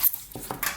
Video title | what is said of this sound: The Best And Most Classy Japanese Small Size Automatic Field Watch Under $65: The SEIKO 5 SNK809K1 | it really rattles a lot let me demonstrate when I shake it you can hear it really rattles